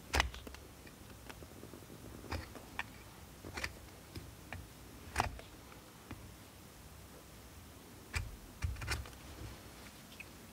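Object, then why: Soap bar scraped with a steel knife blade. A steel multitool knife scrapes and carves a solid blue bar of soap held over a pile of shavings. Short, bright scraping and crunching cuts come at irregular intervals over a quiet, low background hiss.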